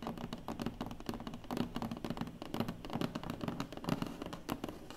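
Long nails and fingertips tap and scratch across the lid of a large, closed black cardboard award box. The hollow box gives a dense stream of quick, dry taps with a low, boxy thump and brief scratchy rasps, each sound dying away almost instantly.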